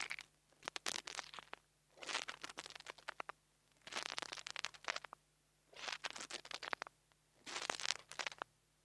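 The metal tip of a nail tool taps and scratches the metal grille of a small black plastic mini lavalier microphone. Five bursts of dry, bright crackling and crunchy scratching come with quick, sharp clicks that die away instantly. Near-silent pauses separate the bursts, and there is almost no low end.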